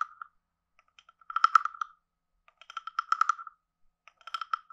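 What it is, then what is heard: Wooden frog guiro. A wooden stick taps quickly along the lower edge and body of a hand-sized, carved, hollow wooden frog guiro with a ridged back. Three bursts of rapid, dry, hollow clicks ring out, each with a woody tone near 1.3 kHz and brighter ticks above it. Every tap dies away almost at once, leaving short silent gaps between the bursts.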